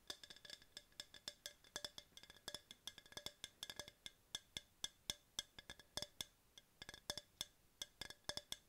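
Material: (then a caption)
Plastic. Long pink nails tap a tall, hollow, empty yellow hard plastic tumbler held in both hands, producing 46 quick, light clicks in an uneven rhythm. Each tap is a dry, bright knock with a ringing tone near 3.5 kHz that fades almost instantly, with very little low end.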